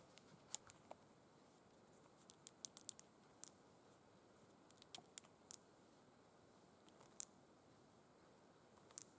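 Long pointed red acrylic nails rapidly tap and scratch the surface of crossed burgundy faux suede gloves with sequin stripes, which lie flat and empty. Sharp, bright clicks and ticks come in scattered bursts over a quiet, high, hissy bed of soft scratching. Each tap dies away almost instantly, with no ring.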